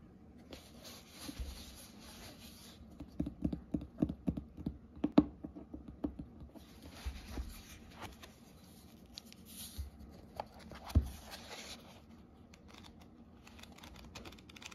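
A medium, solid hardcover book with a cloth/paper cover and paper pages lies closed under the fingertips, then is opened and its pages are flipped by hand. Quiet, dry taps and light scratches on the cover come in irregular clusters with a low, muffled thump. Soft, bright papery rustles and swishes from the turning pages follow.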